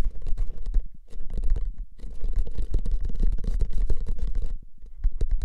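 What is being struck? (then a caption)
Paper-wrapped cardboard tube can. A hollow paper-wrapped cardboard can, held horizontally, has its paper surface quickly scratched and tapped with fingertips and nails. The result is a dense, rapid patter of dry scratches and soft taps with a deep, hollow low-end thump, running in bursts separated by brief pauses.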